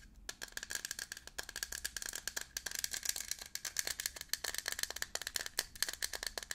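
A Veet 150 ml aluminium aerosol spray can, a hollow cylinder with contents inside, is held in both hands and shaken. It makes a quick, dense run of bright, dry rattling clicks with almost no low end and very short ring.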